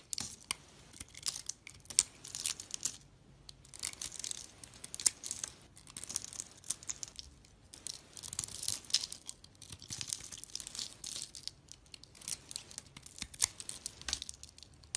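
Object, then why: Bar of soap. A solid green and white striped soap bar, held in a hand with dark-nailed fingers, is carved with a snap-off box-cutter blade that shaves curls off its surface. Quiet, bright, crisp scraping and crackling strokes come in bursts with brief pauses, with almost no low end and no ring after each cut.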